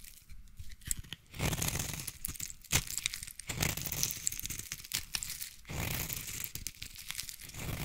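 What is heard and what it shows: A utility knife blade scrapes and cuts curls from a solid pink bar of soap held in the hand. Dry, crisp scraping and crackling strokes come in uneven bursts, with a bright, hissy edge over a soft low rumble.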